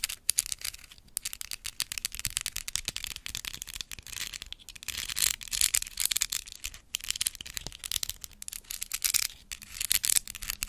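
A large hollow white plastic skeleton spider decoration is held in front of the mic and tapped and scratched with long acrylic nails. The result is a dense, rapid stream of dry, bright clicks and scratchy rasps with almost no low end, each tap dying away almost instantly.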